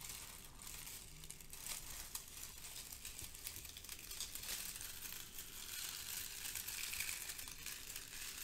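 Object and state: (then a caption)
Crinkled kraft paper shred. Fingertips with long nails grab, lift and squeeze handfuls of brown crinkle-cut kraft paper shred filler resting on a white foam sheet. The result is a steady, dense, bright crinkling and rustling with irregular louder crackles throughout.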